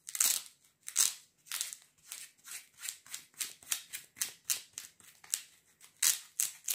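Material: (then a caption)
Fabric. A sandal with a fabric velcro strap and foam sole is held up while fingers repeatedly pull and press the velcro strap. About nineteen quick, separate bursts of crunchy ripping and rubbing follow one another, bright and hissy with almost no low end, each fading fast.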